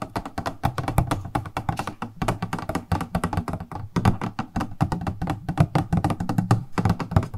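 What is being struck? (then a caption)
Transparent plastic cosmetic box tapped with fingernails. A purple-edged, transparent plastic cosmetic product box with a printed label is held in the hands and tapped rapidly with long nails. The taps are quick, dry and hollow, with a low, thunky body and almost no ring, coming in fast, uneven bursts with short pauses throughout.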